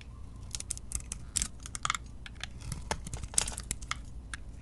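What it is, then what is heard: Bar soap being shaved. A metal utility-knife blade shaves curls off a hand-held solid bar of soap with a teal and yellow glitter coating and a lilac interior. A quick, uneven series of short, dry, crackling scrapes rings out bright and crisp, each cut stopping almost instantly. A low, steady rumble sits underneath throughout.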